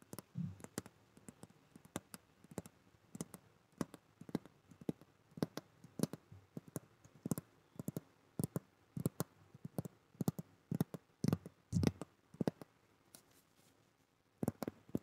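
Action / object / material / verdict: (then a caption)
tap / hardcover notebook / cardboard / none. Long nails tap and scratch the cover and edges of a solid, flat blue hardcover notebook held up close to a microphone. The result is a quiet, irregular run of short, dry clicks and taps, each with a soft low thud and a bright crisp edge that dies away almost at once. Brief pauses separate the bursts of tapping.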